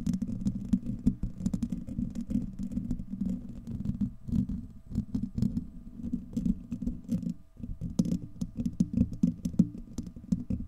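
Fingertips and nails of both hands scratch a hollow, domed steel wire-mesh microphone grille, producing a dense, continuous low rumbling scrape. Quick sharp clicks cut through it throughout, with a brief drop in the scratching around the 7.5-second mark before it resumes.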